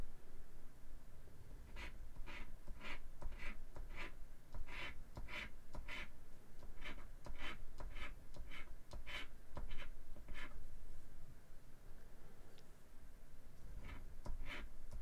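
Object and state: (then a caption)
Scratch-off lottery ticket being scratched. A thin, flat cardstock "Hit $100" scratch-off lottery ticket lies on a wooden table, held down by one hand while the other hand scratches its latex coating. Quick, bright, dry scratching strokes come in an uneven series, with a brief pause near the end before a few final strokes over a low, quiet background rumble.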